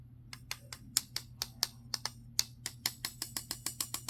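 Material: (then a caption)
Metal. A metal folding pocket knife is struck repeatedly with something harder, giving about 20 sharp, bright metallic taps in irregular succession, each with a brief high-pitched spring ring. The knife is of good quality and does not rattle, and its spring is fine; the ring is heard only when the knife is hit hard.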